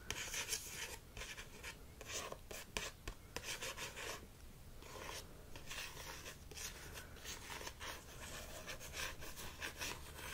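Fingertips and short nails scratch and tap the front of a solid paperback copy of "Jules and Jim" with a glossy card cover, held flat. The result is a steady, bright, papery rasping broken by short, sharp taps that die away almost at once.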